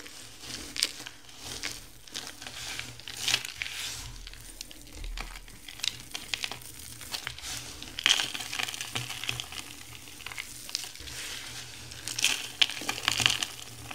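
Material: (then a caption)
Soap. Two hands with long blue nails scoop, squeeze, crush, crumble and rub handfuls of small, dry, multicolored soap chunks and crumbs from a large pile on a white surface. The result is a steady, bright crackling and crunching, with louder clusters of sharp crumbles standing out over a fine, hissy grinding.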